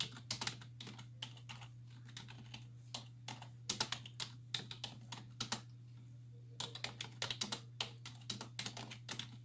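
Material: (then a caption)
Plastic. Long nails and fingertips press the hollow keys of a black plastic computer keyboard resting on a wooden desk, typing in rapid key taps. Short, bright clacking clicks come in quick bursts with a brief lull midway, over a steady low hum.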